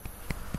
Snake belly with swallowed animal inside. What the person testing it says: I can kind of hear that hollow sound of her belly when I tap it gently.